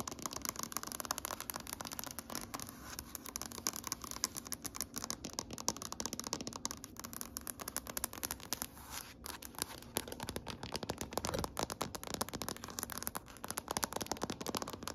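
Long painted nails on both hands tap rapidly across a large, solid gray wood-grain tabletop, possibly wood laminate. The result is a dense, steady stream of sharp, bright, dry clicks with almost no ring and little low-end body, against faint scratchy rattling.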